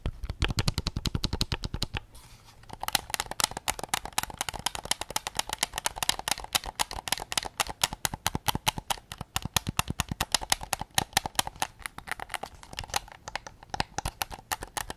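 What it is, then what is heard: Plastic game controller. Fingertips tap rapidly on a white PS5 controller of hollow plastic, first on the grip side, then on the back near the microphone. Dozens of quick, dry clicks die away almost instantly. The first taps carry a deep low thump; after a brief pause they turn brighter and more hollow, with a bright top end.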